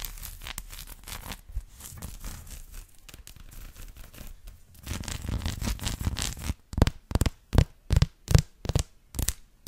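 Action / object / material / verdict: scrape / dark chocolate bar with bumpy surface / chocolate / none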